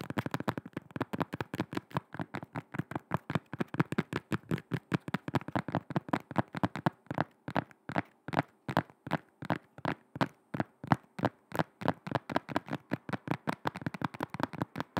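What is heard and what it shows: Long red acrylic nails tap and scratch the rubber sole and sides of a black shoe with a seemingly leather upper, held in both hands over the mic. About 74 quick, dry, clicky taps follow one another in a steady rapid stream, each dying away almost instantly, with a dull low body and faint scratchy texture between them.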